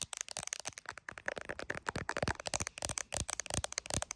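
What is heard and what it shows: Very long acrylic nails tap quickly on the rear camera area and back of an iPhone Pro in a clear plastic case, held in both hands and seen in a mirror. About two dozen sharp, bright, clicky taps come in a fast, uneven stream, each dying away almost at once. The phone itself is recording, so the taps land right next to the mic and sound close and crisp.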